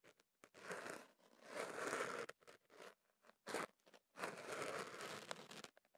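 A hollow wrap of kenaf paper around a microphone is scratched and rubbed at its end by a thin pick held in the fingers. Close, dry crinkling and scraping rustles come in uneven bursts, some long and sustained, others short. The sound is centered in the midrange with little low end.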